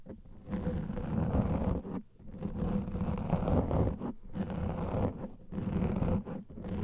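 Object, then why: Foam microphone windscreen. The top of a large black foam microphone windscreen is scratched with the fingernails of both hands, producing dense, muffled, rumbling scratches that sit mostly in the low range with almost no high content. The scratching comes in long bursts separated by brief near-silent pauses.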